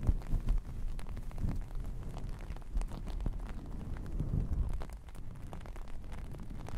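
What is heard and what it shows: Both hands with long painted nails scratch and rub through a large red and black long-pile faux fur fabric laid across the microphone; the fabric is soft and flat, not hollow. The result is a continuous, muffled, low rumbling brush with dense soft crackles and a few louder swells, almost all of its energy sitting deep in the bass with no bright edge.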